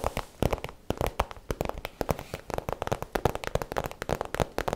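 Long nails tap and scratch the front of an iridescent holographic PVC zip pouch, hollow and empty-looking, while hands crinkle the plastic. The result is a rapid, uneven run of sharp, dry clicks with very short decay, mixed with crackly crinkling.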